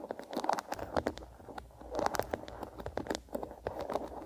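A small wooden bristle hairbrush is held on its side in one hand while the fingertips and nails of the other hand scratch and strum across its bristles. The result is a quick, dry patter of crackly plucks and scratches, centered in the midrange, with short bursts that die away almost instantly.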